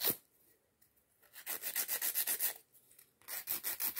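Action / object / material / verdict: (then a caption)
scrape / acrylic nail and emery file / acrylic / none. A white emery nail file with pink edges is rubbed back and forth across a long, solid acrylic press-on or sculpted nail on a fingertip. A single short stroke is followed by two runs of quick, bright, hissy scratching strokes, separated by a brief pause. The sound is dry and high, with almost no low end.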